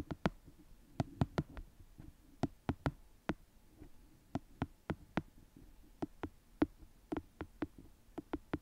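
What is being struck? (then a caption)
Paperback paper book. Long manicured nails tap and scratch the top edge of the pages and the cover of a small paperback book held flat in one hand. Twenty-three sharp, dry clicks ring out at an uneven pace, each dying away almost at once. Faint, soft scratching fills the quiet gaps between them.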